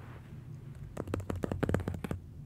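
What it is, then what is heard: Paper drawing on mounting board. Fingertips and nails rub and tap across the paper surface of a large, flat pastel drawing mounted on black board, and then a hand grips the board's edge. After a second of quiet low rumble, a quick run of soft, dry, dull taps and scratches follows. Each one stops instantly with no ring.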